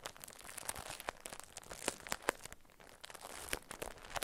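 A small solid bar of soap in a paper wrapper with a round label is held and tapped and scratched with long acrylic nails. The paper gives a dry, crinkly rustle broken by a rapid series of sharp, bright clicks from the nail taps, with very little low end and no ring after each tap.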